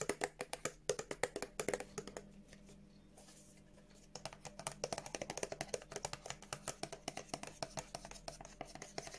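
Long nails tap and scratch a small white and blue printed paperboard Revolution Beauty body exfoliator box with a window and the product inside. Quick, dry, clicky taps come first, then a short stretch of softer scratching, then steady tapping resumes. Each tap is short and bright with almost no ring.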